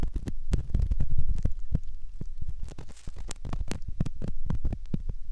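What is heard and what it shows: A hooked metal ear pick scratches the canal entrance of a soft silicone ear model. Heard very close up, it makes a rapid series of short, muffled scraping and rubbing strokes, deep and thumping with occasional brighter crackles. The scratching continues steadily throughout the clip.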